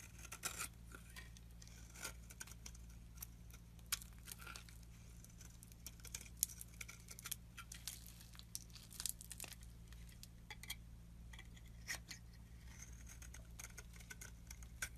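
A metal blade scrapes fluffy shavings off a solid oval green bar of soap held in the palm. Quiet, crisp, bright scraping strokes with a crinkly, tearing texture repeat throughout over a steady low hum.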